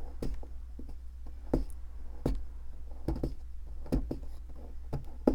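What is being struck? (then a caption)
Plaster block scraped with a metal pick. A metal pick scratches and scrapes at a solid white plaster fossil excavation block turned in the hand, giving a series of short, dry scraping ticks that die away almost at once. A steady low hum runs underneath throughout.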